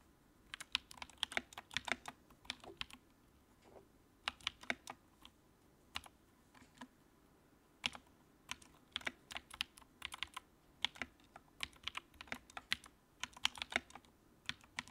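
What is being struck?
Plastic mechanical keyboard.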